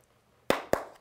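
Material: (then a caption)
Plastic. Two sharp taps on the plastic body of a Canon EOS 6D Mark II give short, hollow clicks centered in the midrange with almost no ring. The sound confirms the body is plastic with no metal anywhere, and the body would crack if dropped.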